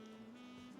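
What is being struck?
Nothing is struck.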